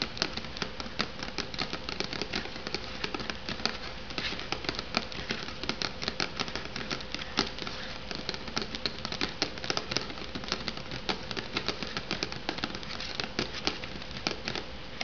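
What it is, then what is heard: Cardboard sleeve on an instant noodle cup. Long nails tap rapidly and steadily on the cardboard top and sides of an unopened instant noodle cup with a cardboard sleeve. The result is a dense run of short, dry, bright clicks with almost no ring, over a faint steady hum and low background rumble.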